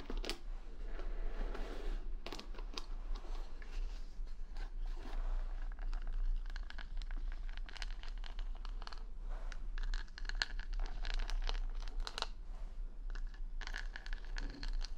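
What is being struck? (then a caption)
Wooden paddle brush with plastic rhinestone back and bristles. A rhinestone-covered wooden paddle hair brush with plastic rhinestone stickers is rubbed and scratched close up by fingertips and long nails, working across both the bristles and the rhinestone back. The result is a steady run of dry, crinkly scratches and short crunchy ticks with bright edges over a low constant rumble, with no talking.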